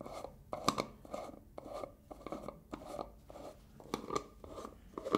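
Fingers and nails scratch, tap and twist the black plastic lid of a medium-size black plastic hair gel jar. The result is a quiet run of short, dry, raspy scratches and clicky taps centered in the mids, with brief bright edges and almost no ring.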